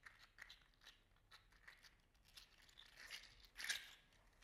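A hand-sized, segmented, green-gold metallic 3D printed plastic articulated slug toy is rolled over a hand and squeezed between the fingers. Its segments click together in a series of small, bright, dry clicks and crinkles. The clicks grow denser and a little louder toward the end.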